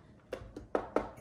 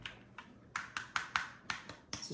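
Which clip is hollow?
The first.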